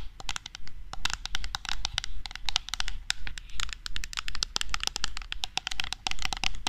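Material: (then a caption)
Metal. A medium red metal aerosol can of shaving foam, held horizontally, is tapped and scratched with long nails. Dense, quick clicks and scrapes with a bright metallic ring come in uneven bursts over a low steady hum.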